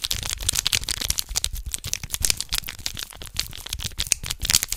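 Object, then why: Small foil packet. A small red foil condom wrapper is held between both hands close to the microphone while the fingertips crinkle it. A dense run of sharp, bright crackles and rustles comes through, with a light low rumble underneath.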